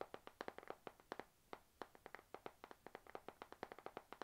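Long nails tap a panda-print spiral notebook with a glossy cover, held in both hands, in a quick, uneven rhythm of about 31 crisp, dry clicks. Each tap is short and mid-pitched with a brief bright edge and almost no low end or ring, and the taps stay soft and quiet throughout.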